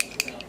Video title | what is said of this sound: Hits and Misses: Wet n Wild Edition | even though it's really flipping loud. There we go. You hear that? It's kind of annoying.